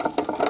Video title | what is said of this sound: Fixing On My Vintage Cattle Chute, Repairs and New Parts | that rattle inside that indicates that the pulling mechanism is broken